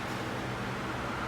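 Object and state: Nothing is struck.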